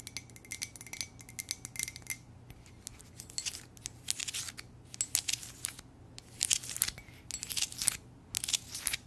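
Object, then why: Glazed ceramic mug. An empty, hollow white ceramic coffee mug with a lips print and lettering is turned in the hands and tapped and scratched with long nails on its glazed surface. Quick, bright clicks and scratchy bursts come in irregular clusters with short pauses between them. A faint steady low hum runs underneath.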